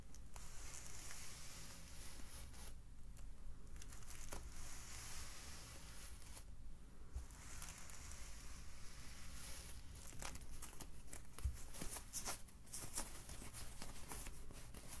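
A white polyethylene foam net wine bottle sleeve lies flat on a white table and is rubbed and pressed with fingertips, then picked up and stretched. The result is a quiet, continuous crinkling, squeaking texture with scattered sharp crackles and short bright ticks over a low hum.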